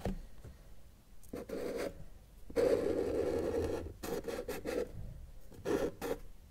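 A felt-tip marker held in the fingers draws mountains on a flat white paper sheet resting on a solid table. It makes scratchy, rasping strokes centered in the mid range, a mix of short quick lines and one longer sustained stroke, with brief quiet gaps between them.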